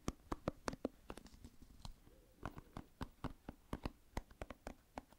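A hand-sized oval plastic paddle hairbrush with dense pin bristles is held near the microphone while fingertips run over and flick its bristles. This makes a quiet, irregular series of about 22 short, sharp clicks with soft scratching between them. Each flick is a dry, instant tick with almost no ring.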